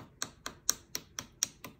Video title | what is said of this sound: SMOKEY BLUE CLASSIC OMBRE TUTORIAL | easy way to know a nail's dry. It's a loud tap.